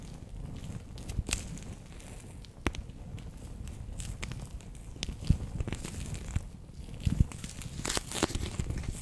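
A palm-sized, bear-shaped clear plastic pouch, sealed and full of orange water beads, is held in both hands and tapped and scratched across its surface with long painted nails. The result is a steady low, squishy crinkling bed, broken by scattered sharp, bright clicks from the nails that die away almost instantly.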